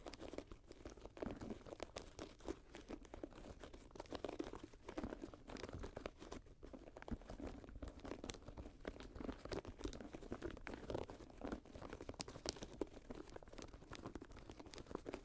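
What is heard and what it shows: Long nails scratch and tap the suede and mesh upper of an empty grey Jordan high-top sneaker lying on a lap. The result is a quiet, continuous stream of dry, crunchy scratches and short soft taps, mostly mid-toned with little bright content.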